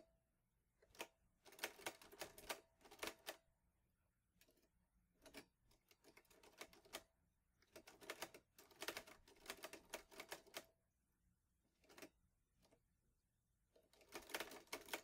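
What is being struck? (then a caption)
Metal portable manual typewriter. Fingertips type on the keys of a green metal portable manual typewriter, an Olivetti Lettera 22, in bursts of quick, sharp clacks separated by short pauses. Each strike is a bright, dry click with a faint metallic ring in the mid range that dies away almost instantly.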